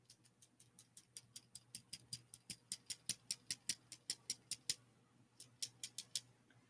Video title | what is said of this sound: StudyBuddy (LSAT/MCAT/SAT/Finals/Work/Anything) 1 MONTH OUT! | the only thing that is rattling is the lead on the inside and it operates as a maraca